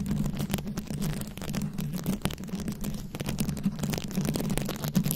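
Long acrylic nails scratch and tap across a fist-sized microphone head fully covered in small glued-on rhinestones and beads. The result is a dense, continuous close-up scratching with quick clicky taps over a heavy low rumble and a steady low hum, with little high-end sparkle.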